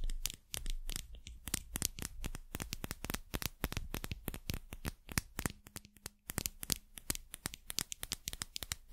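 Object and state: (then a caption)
Metal and rubber dropper cap. Long nails rapidly tap and scratch a small hollow dropper cap, held alone off its bottle, with a shiny metallic collar and a white rubber bulb. The result is a dense stream of sharp, bright clicks mixed with dry, papery scratching, each tap dying out almost instantly. A faint low hum sits underneath partway through.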